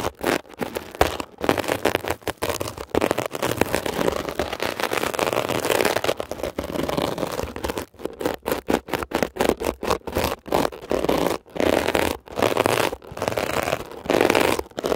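A flat rectangular blue scrubber sponge, with a glittery woven mesh cover over a soft foam core, lies on a surface, held by fingertips while the tip of a thin metal ear pick scratches across it. The result is a dense, rapid, scratchy crackle centered in the midrange, coming in quick bursts separated by brief silent gaps.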